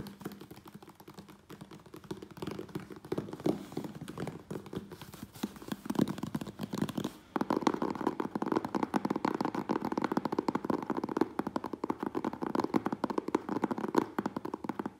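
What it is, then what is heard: Cardboard shipping box. Fingertips and nails tap fast on the front face and sides of a medium closed, hollow corrugated cardboard Priority Mail box. The result is a dense stream of short, dry, hollow taps centered in the low-mid range, and it grows louder and busier after about seven seconds.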